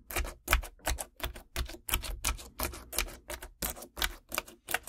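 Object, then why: Clear crunchy slime packed with gel water beads, tapped and scratched with long nails. Long decorated acrylic nails scratch and tap into a flat sheet of clear crunchy slime packed with colorful gel water beads lying on a wooden table, then fingertips press it flat. About twenty quick, crisp crackling bursts repeat in a steady, slightly uneven rhythm, each with a bright snap over a soft low thump that dies away almost instantly.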